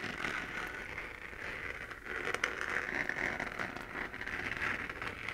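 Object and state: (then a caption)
Plastic moon lamp being scratched. Long dark-painted nails scratch across the textured crater surface of a glowing spherical moon lamp, a hollow 3D-printed plastic shell about hand-to-head size held in one hand. The result is a continuous dry, crackling scratch centered around 2 kHz with a bright hiss above. It stays at a steady low level with a brief dip near the two-second mark.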